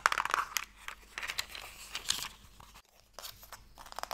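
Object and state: Wooden box, tapped and scratched with nails.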